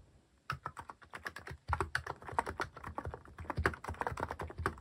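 Fingertips type on a mechanical keyboard fitted with plastic cat keycaps. After a brief quiet start, a steady run of quick, crisp clacks and taps follows, with short dull thumps underneath and brighter clicks on top. Each keystroke dies away almost at once.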